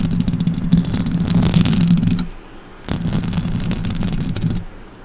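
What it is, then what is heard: Metal microphone grille being scratched. Long orange fingernails scratch and tap across the metal mesh grille of a silver microphone, producing a dense, rasping scrape with a strong low hum and scattered bright ticks. The scratching comes in two bursts separated by a short near-silent pause, then fades out.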